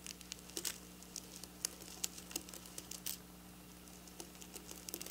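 Long black nails of both hands quickly scratch and tap silver sequin fabric resting on a counter. The result is an irregular run of crisp, bright clicks and short scratchy ticks over a faint, steady low hum.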